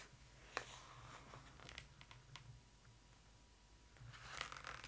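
Long acrylic nails tap and scratch across the glossy printed paper pages of a large hardcover photo book lying open, making crisp, bright clicks and dry scraping over a low steady hum. A page is then turned with a louder, papery rustle at the end.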